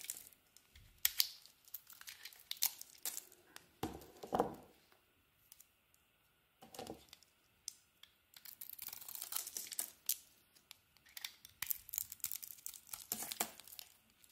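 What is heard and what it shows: A utility knife blade scrapes and carves the shiny blue patterned coating off a solid oval green bar of soap held in the hand. The clip is a run of dry, crinkly scraping and tearing strokes, bright and close, with a few brief pauses between bursts of shaving.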